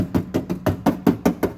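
A bare, undamped sheet-steel trunk lid on an E36 318ti is knocked in a steady series of quick raps before any sound-damping mat is applied. Each knock gives a tinny, hollow, resonant thud centered in the low-mid range with a short ring. This resonance is unwanted because it makes the lid rattle when the bass hits.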